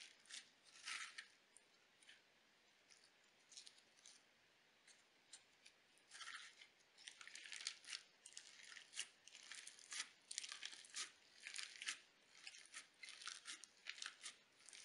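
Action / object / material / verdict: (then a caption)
scrape / slime with sequins / slime, sequins / none. A flattened disc of pale pink crunchy slime with iridescent sequins, lying on a table, is pressed and pushed with fingertips and glitter nails. Bursts of bright, crisp crackling and crunching come in quick clusters, sparse at first and then denser and louder in the second half, with near silence between them.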